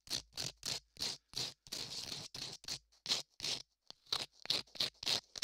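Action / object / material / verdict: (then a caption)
scrape / modeling clay ear sculpted over a microphone, rubbed with sandpaper / modeling clay / none. Latex-gloved fingers rub a small piece of sandpaper over a solid beige modeling clay ear sculpted over a binaural microphone. About twenty short, bright, scratchy sanding strokes come in an uneven rhythm, with one longer continuous scrape near the two-second mark. The sound is quiet and hissy, with almost no low end.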